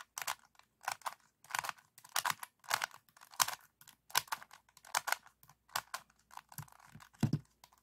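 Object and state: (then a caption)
Plastic puzzle cube. Fingertips and short nails tap and scratch the red tiles of a 3x3 plastic speed cube held close. The result is a steady run of short, dry, crisp clicking and scratching bursts with bright highs and almost no ring. Near the end comes a slightly heavier tap with a low thump.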